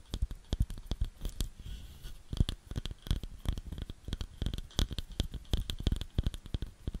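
Long nails tap and scratch a round, light wooden bowl that is hollow and empty. The result is a rapid, uneven run of short, dry taps, each with a dull low thump and a bright clicky tick, and brief scratching between them.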